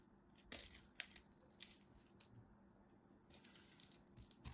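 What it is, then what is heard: Bar soap being scraped and cut. A craft knife held in hand scrapes and cuts into a solid, pre-scored green-and-white striped bar of soap. Quiet, crisp, crunchy scraping bursts sound with bright, dry edges and no ring. Crunchy chips fall away from the bar.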